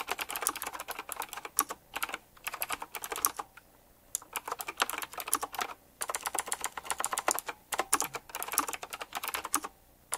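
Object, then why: Mechanical keyboard with round plastic keycaps in metal rings. Fingertips type fast on a retro typewriter-style mechanical keyboard with round plastic keycaps set in chrome rings. It gives rapid bursts of sharp, bright clicks that stop dead, separated by brief pauses.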